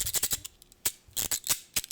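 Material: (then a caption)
Metal. Craft-brand pinking shears with thin metal blades set in a plastic body are worked open and shut, giving a series of sharp, high-pitched rasping snips. The rasping noise marks the blades as thin metal and the tool as cheap compared with thicker dressmaking shears.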